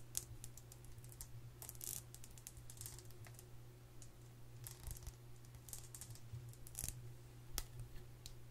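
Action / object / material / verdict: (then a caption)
tap / metal tin makeup palette / metal / none. Long nails tap and scratch the lid of a flat, closed Too Faced metal tin makeup palette held in the hand, its hollow body holding pans inside. Quick, bright clicks and short scratches come in an irregular run, each dying away almost at once, over a steady low hum.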